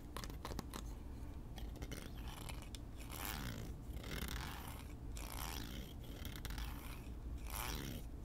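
Fingertips and nails run along the teeth of a small solid wooden hair comb held in both hands, scratching and flicking them. Quick, dry clicks come first, then longer bright, rasping scrapes swell and fade several times over a steady low rumble.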